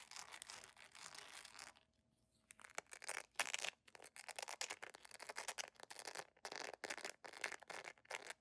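Long nails scratch the embossed patterned sole and straps of a beige jelly sandal made of solid plastic, producing fast, dry, bright scraping bursts. A short quiet gap near two seconds interrupts the rapid scratching, which otherwise continues steadily throughout.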